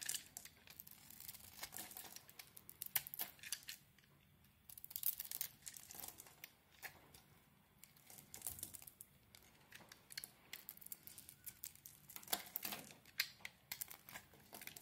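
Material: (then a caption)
Soap. A metal blade scrapes shavings off a solid Palmolive soap bar with a teal and lilac coating and a green interior. Bright, crisp rasping and crinkly scraping strokes come in dense bursts with short quieter pauses between them.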